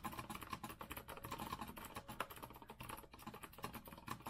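Both hands type fast with their fingertips on a rose-gold Azio retro mechanical keyboard with a metal frame and round plastic keycaps. A dense, steady stream of quick, crisp clacks with short decays is heard, with a few louder strikes standing out from the rapid patter.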